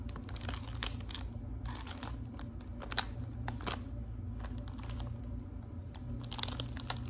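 Long acrylic nails tap and scratch a small Lipton tea box wrapped in gold metallic foil film, making crinkly sounds. Dense clicks and crisp crinkles run steadily over a low hum, with bright taps standing out near the start, middle and end.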